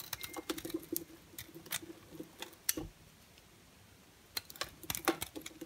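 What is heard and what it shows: A utility knife blade carves and scrapes a solid orange and white striped bar of soap, and dry flakes fall off. The sound is a run of crisp, bright, crackly scrapes and clicks with very short decay. A quiet gap in the middle is followed by another burst of scraping.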